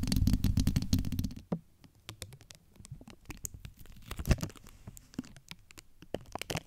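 Long acrylic nail tips scratch the domed, hollow steel-mesh grille of a large USB microphone. For the first second and a half it is a dense, loud, low rumbling scrape, then it drops to quieter, scattered clicks and short scratches with sharp bright edges.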